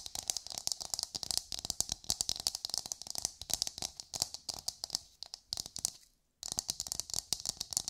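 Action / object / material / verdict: tap / coconut shell half / coconut shell / none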